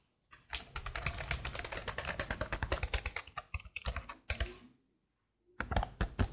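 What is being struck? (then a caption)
Plastic laptop keyboard keys. Long blue nails type and tap quickly across a black plastic laptop keyboard with hollow plastic keycaps, making a dense run of light, hollow clicks with a low thud under each press. The tapping stops briefly near the end, then resumes with a few sharper, louder clicks.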